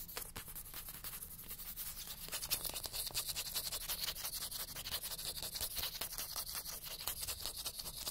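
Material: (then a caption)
Paper. Fingernails scratch fast along the page edges and spine of a solid-paper paperback book. The result is a dense run of quick, dry, bright scratching strokes at a steady moderate level, with an uneven rhythm and almost no ring after each stroke.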